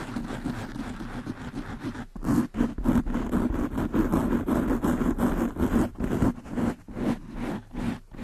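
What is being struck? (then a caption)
Foam microphone windscreen. Long nails scratch and brush the black foam windscreen of a desktop microphone, making a dense, muffled scraping with a low hum around 240 Hz. A steady, softer scratching runs for about two seconds before louder, uneven strokes take over. These come in quick repeated bursts with short gaps between them.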